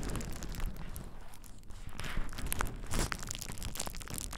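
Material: Plastic.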